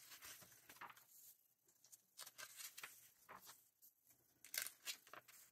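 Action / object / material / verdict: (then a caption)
scrape / glossy paper magazine / paper / none. Fingertips flip and slide the pages of a glossy paper Vogue magazine, the November 2024 issue, held open by hand. Quiet, bright, crisp rustles and papery swishes come in uneven bursts with brief lulls between turns. Sharper crackles sound near the end as a page is caught mid-turn.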